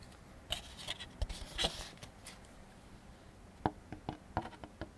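The teeth of a black plastic comb are scraped and tapped across a large, white, thin, hollow-backed molded paper fiber plate held in one hand, which is flipped over partway through. Bright, dry scratchy scrapes come first, then a quieter stretch, then a run of short, sharp clicking taps that die away almost instantly.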